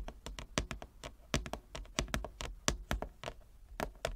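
A large, flat, inlaid wooden chess board is tapped with long nails and fingertips in about 18 quick, irregular taps. Each tap is a short, dry knock with a soft low thump and a bright clicky edge that dies away almost at once.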